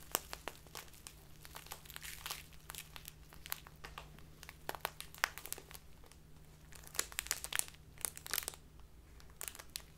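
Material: Plastic film.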